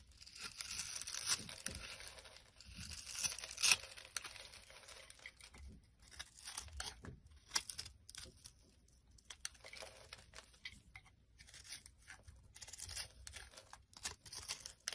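A solid blue bar of soap with a scored surface, held in the hand, is scraped and cut by a metal blade that shaves off crumbly granules. The sound is a bright, dry, crackling scratch in many quick bursts with short pauses between strokes, with almost no low end.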